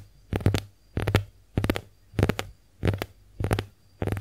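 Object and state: Konjac face sponge.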